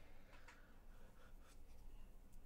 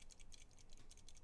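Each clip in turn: First: keyboard stabilizers shaken, no rattle. Second: unlubricated keyboard stabilizers, rattling.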